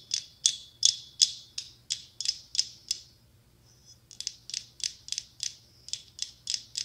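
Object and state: Mosaic glass pumpkin tapped with nails.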